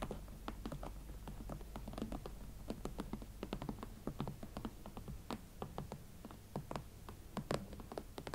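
A pair of hot pink leather Valentino Club Platform boots stands side by side on a table while long nails tap the elastic side panels, the shafts and the platform fronts. Quiet, dry, clicky taps with brief, bright ticks fall in an unhurried, uneven rhythm over a steady low hum.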